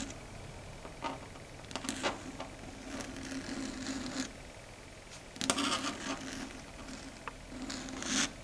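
Long red stiletto nails tap on a flat, solid, dark grey chalkboard surface. Sharp, bright clicks with very short decay rise over a quiet, steady background hum around 250 Hz.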